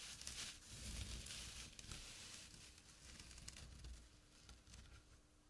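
Fingernails and fingertips scratch a small, flat, empty jute burlap drawstring pouch lying on dark cloth, giving a dry, rough, bright scratching and rustling over a soft low rumble. The scratching comes in uneven bursts, strongest in the first two seconds, then thins and fades as the hand leaves.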